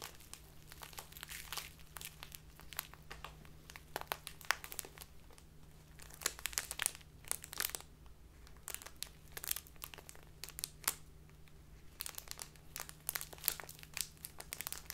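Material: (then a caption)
Plastic. A small, clear, crinkly plastic bag full of dark loose tea is squeezed and crinkled by fingertips with long nails. Dense, bright crackles and rustles come in bursts with short quieter gaps, over a faint steady low hum.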